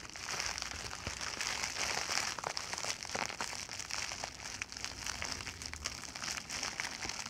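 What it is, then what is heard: Plastic mailer bag crinkled. An empty white plastic poly mailer bag is held open and crinkled and squeezed with both hands and fingertips. The result is a steady, bright, dense crackling and crinkling, with many quick sharp snaps over a continuous high hiss and almost no low end.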